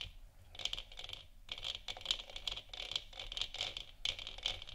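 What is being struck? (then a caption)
Hollow plastic lamp sphere. Long nails of both hands scratch over the textured surface of a hollow, lit plastic moon lamp sphere resting on a wooden stand. Soft, bright, dry scratching comes in quick bursts, centered around 3 kHz with little low end, and each stroke stops almost at once with no ring.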